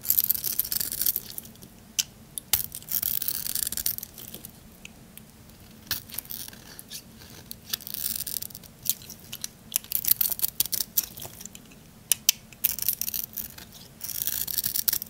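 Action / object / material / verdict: scrape / bar of soap / soap / none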